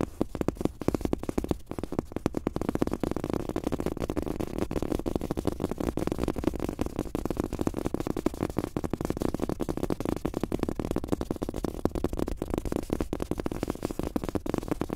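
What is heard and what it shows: Fingertips of both hands tap fast across a large, thin, soft, solid fabric-top rubber desk mouse pad with a world map print, lying flat. It makes a dense, continuous stream of quick, dull, muffled pats centered in the low mids, with no ring after each tap.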